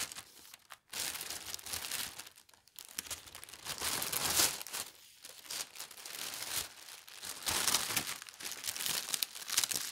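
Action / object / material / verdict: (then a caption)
scrape / thin tissue paper sheet / paper / none. A large, thin tissue paper sheet with a pastel diagonal stripe print is folded while hands with long red nails smooth and rub it. The result is a bright, airy crinkling and rustling that swells and fades in waves, with brief near-silent pauses and almost no low end.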